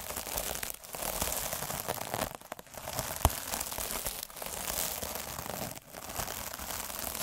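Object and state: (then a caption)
Plastic mesh scrub sponge. Fingers roll a derma roller with fine metal needles across the surface of a sparkly, soft, iridescent plastic mesh scrub sponge. The result is a dense, bright, crinkly crackle that runs almost continuously, dipping briefly between passes. A sharp click stands out near the middle.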